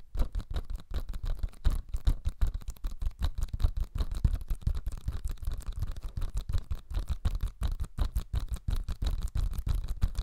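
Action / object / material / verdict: scrape / cellulose sponge / cellulose / none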